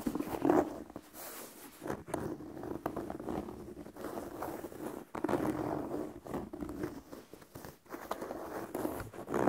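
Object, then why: Leather sneaker with rubber sole. Fingertips tap and scratch the side of the upper and the edge of the rubber sole of an empty white leather sneaker held close to the microphone. The result is a steady run of soft, close-up scratchy rustles and light dull taps, mostly in the mid range with little low end. Each tap dies away almost at once.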